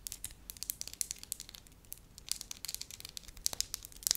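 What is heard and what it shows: Long lilac nails tap and scratch the surface of a flat, pale-yellow, palm-sized solid disc of soft wax while holding it. The result is a quick, irregular run of crisp, bright clicks and scratchy crackles with almost no low end, each sound very short and dry.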